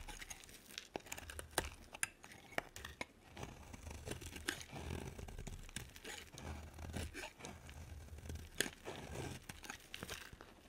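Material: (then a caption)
Soap. A hand-sized bar of solid white soap is scraped and carved with a utility knife blade, leaving chunky cut facets. Dry, crunchy scraping and tearing textures run throughout, broken by sharp, bright clicks as the blade bites and chips away pieces, over a soft low rumble.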